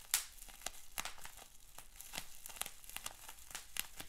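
Fingers crinkle, scrunch and twist a large sheet of clear plastic bubble wrap with small bubbles. A soft, steady, bright crinkling runs throughout, broken by short, sharp crackles and a few louder snaps, the strongest near the start.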